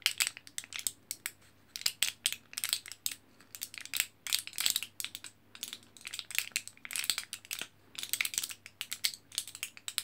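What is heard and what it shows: Fingertips and nails scratch and press the foil back of a single orange printed, foil-backed plastic blister pack of vitamin capsules held close up. The result is a dense run of quick, bright, crinkly crushing and ticking bursts with almost no low end and very short decay.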